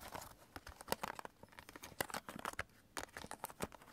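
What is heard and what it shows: Fingertips and nails tap and scratch along the edges and top of a stack of several clear hard plastic CD jewel cases held upright on fabric. A quick, irregular run of sharp, dry clicks and crinkly scratches with bright, crisp highs and almost no ring follows, with little low end beneath.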